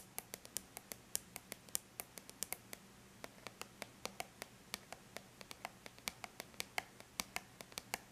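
Long bare natural nails tap quickly and lightly on a flat silver-gray aluminum laptop lid. About 44 quiet, sharp, bright clicks fall in an uneven, rapid rhythm, each stopping almost instantly. A faint low steady hum sits underneath.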